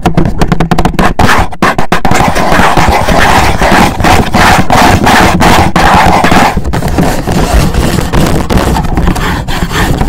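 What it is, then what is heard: Cardboard gift box. Fingertips and nails rapidly tap and scratch a black, rigid cardboard gift box standing upright and hollow. The dense, irregular stream of loud taps has a low, hollow, boomy body, with brief gritty scratching between strikes that keeps the sound rough and continuous.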